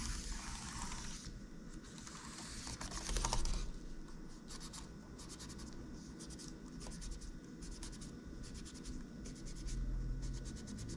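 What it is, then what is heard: Plastic laptop keyboard being scraped. A gloved hand scrapes a cotton swab along the gaps between the plastic keys of a silver laptop keyboard, with light key presses. Soft, bright scratching and rubbing fill the first few seconds, then give way to a quick, uneven series of short, dry ticks over a steady low hum.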